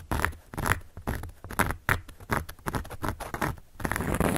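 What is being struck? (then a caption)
Cork board. A carving tool scratches across a large, round, solid cork board. It makes a rapid run of short, dry, scratchy strokes with a patter-like texture and a soft low body. Each stroke is followed by brief pauses, and there is almost no ring after each one.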